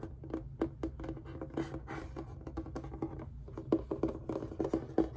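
Fingertips and short nails tap and scratch the face of a large, hollow reddish-brown hard instrument case with a faux-leather surface and an embroidered rose patch, held upright. Quick, soft taps ring with a short, hollow low-mid tone, mixed with a dry scratching rustle. The sound stays quiet and close, with a few sharper knocks near the end.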